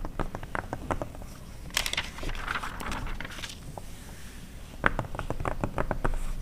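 An open glossy paper car magazine from 2009 lies flat while long red nails scratch and rub its printed pages with both hands, pausing to turn pages in between. Dry, crisp ticks and scratches come in quick runs, broken by a brighter crinkling rustle as a page is turned.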